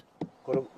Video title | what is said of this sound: Sakura Ou Le Printemps Japonais Reportage Japon Arte | ça sonne creux cette partie est morte